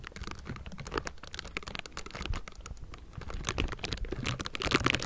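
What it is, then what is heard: Metal microphone grille. Both hands in pink silicone bristle gloves rapidly tap and scratch the hollow metal mesh grille of a Blue Yeti microphone. The result is a dense, continuous stream of quick, crisp clicks and brushing scratches with a low, muffled thump beneath them, growing busier and louder toward the end.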